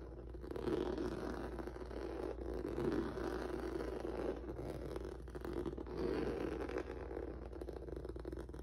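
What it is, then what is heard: Rubber noodle-texture mat. Fingertips and nails scratch the surface of a flat black rubber or vinyl mat with a textured noodle surface. The result is a steady, dense scratching and rustling centered in the low mids around 300 Hz, with little high-end content. It swells in waves over a constant low hum.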